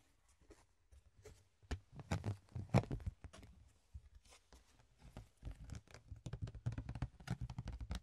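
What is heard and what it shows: A flat, rectangular, ribbed clear plastic box lid is held in the hands and tapped and scratched with the fingertips and nails. Irregular dull, low taps mix with brief bright scratchy crackles. The clip starts quiet and builds to a faster, denser run of taps toward the end.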